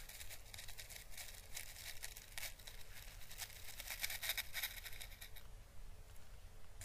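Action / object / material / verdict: scrape / dried papery Chinese lantern husk / dried husk / none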